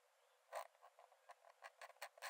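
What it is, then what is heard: Pen nib scratching a paper sketchbook page. A metal nib in a wooden dip-pen holder scratches quick strokes onto the cream paper page of an open sketchbook lying flat on a dark desk. Short, dry, scratchy bursts with no low end rise out of a quiet background, the first the loudest and the rest coming in a quick uneven series. Each stroke stops almost immediately with no ring.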